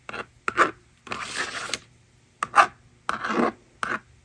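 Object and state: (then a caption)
Plastic magnetic drawing board being written on and erased. A plastic stylus scratches numbers onto a plastic magnetic drawing board resting on a table, making short, dry scratching strokes in quick bursts. Between strokes, the slider is drawn across to erase the screen with a longer, brighter rasping sweep. The result is a quiet, irregular pattern of scribbles and erasing in a small, close space.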